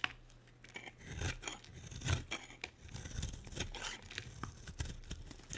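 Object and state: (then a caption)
Dry bar soap being carved. A solid, dry pink bar of soap held in the hand is carved with a metal utility blade, sending curls of shavings falling. It makes a series of short, crisp scraping cuts with bright, papery edges over a soft low rumble, each stroke dying away almost at once.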